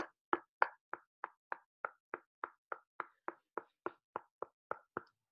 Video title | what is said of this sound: Grow It, Try It, Like It!: Crookneck Squash Lesson with Ms. Sam | can you hear that it's hard it's hard you can knock on it